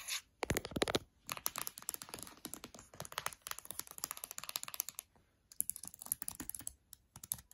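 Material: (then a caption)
Plastic. Fingertips and long nails tap quickly on the black plastic keys of an open MacBook Air laptop with an aluminum body, like typing, and briefly touch the aluminum palm rest and trackpad. Many short, sharp, bright clicks come in uneven bursts, with brief pauses near one, five and seven seconds.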